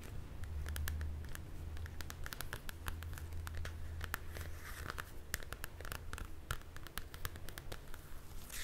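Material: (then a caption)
Card. Long dark nails scratch and tap the glossy card front cover of a Frozen coloring book held in one hand. Crisp, bright clicks and short scratchy strokes come in an irregular stream over a steady low rumble.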